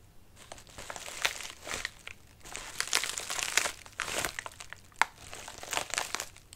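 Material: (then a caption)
Paper. Fingertips scratch and rub the wrinkled surface of a medium white padded mailer resting on a lap. The result is dry, bright crinkling and rustling that comes in uneven bursts with a few sharper snaps. There is almost no low end, and brief quiet gaps fall between strokes.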